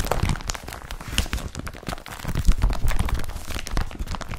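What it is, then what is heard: Woven polypropylene bag being rubbed. An empty blue woven polypropylene IKEA BRATTBY carrier bag lies flat while fingertips slide and rub across its woven plastic surface. The result is a continuous, uneven stream of crinkling, scratchy rustles with a soft low-end thump under quick, dense textured crackles.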